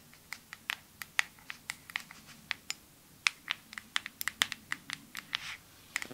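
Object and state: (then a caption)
Glass perfume bottle. A clear glass perfume bottle with a white cap, held in one hand, is tapped with long nails. Quick, bright clicks with very short ring fall in an uneven rhythm, with a brief soft rustle near the end.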